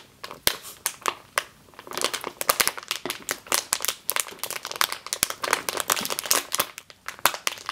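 A medium clear plastic bag with a yellow label, full of flour or grain, sits on a table while long green nails squeeze and scratch it. Dense, bright crinkling and crackling come in quick, sharp bursts with almost no low end. Each crackle stops almost instantly, and the bursts are separated by brief quieter stretches.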